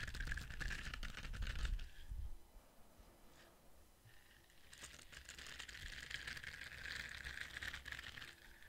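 Fingers scratch and rub the ridged surface of a palm-sized orange silicone scrubber brush held close to the microphone. Rapid, dense scratching with a bright, papery texture and low rumble fades to a quieter stretch of faint rubbing, then picks back up into steady, brisk scratching.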